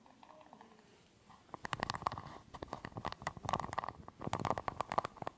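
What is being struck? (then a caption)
Small aluminium screw-top tin. Fingertips and nails scratch and tap the ridged edge of a small, round, hollow silver aluminium screw-top tin with a threaded lid. After a quiet, faintly scratchy start, a quick run of sharp, bright clicks and scrapes follows, each with a short, hollow, metallic tone that dies away almost at once.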